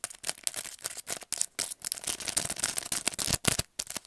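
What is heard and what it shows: Fingernails tap and scratch the plastic blister and cardboard backing card of a long paint brush set in its blister pack. Quick, irregular bursts of dry, bright clicking and scratching come with short gaps and almost no ring.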